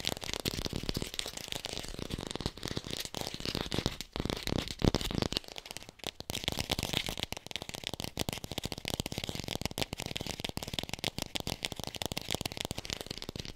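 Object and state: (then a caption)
Fake plastic apple. An artificial plastic red apple is fast-tapped and picked up close on a hi-fi mic. A dense, rapid run of short, dry clicky taps with bright highs and a soft low thump keeps a steady pace. The pace briefly thins around the middle before picking back up.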